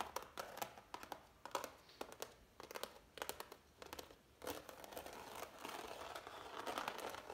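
Fingertips and nails scratch, rub and tap the raised texture of heavy impasto oil paint on a framed canvas. The result is dry, crackly scratching in quick bright bursts with short taps, shifting after the midpoint into a steadier rasping rub with almost no low end.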